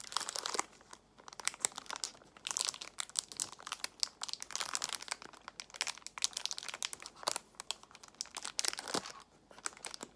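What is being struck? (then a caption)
Cellophane-wrapped plastic box. A clear plastic box filled with nail tips, still in its cellophane wrap, is handled, squeezed and crinkled with long nails. Bright, dense crackling and crinkling come in bursts of quick, sharp snaps separated by brief quieter gaps, with almost no low end.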